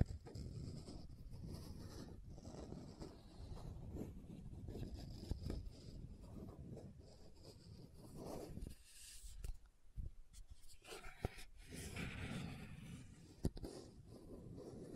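Long nails scratch and tap the plastic body of a pink plastic sunscreen bottle with a gold band, held sideways. The result is a quiet, continuous, dull scratching texture, heaviest in the low end, broken by a few sharper, brief taps that die away almost at once. A short, quieter stretch sits near the middle.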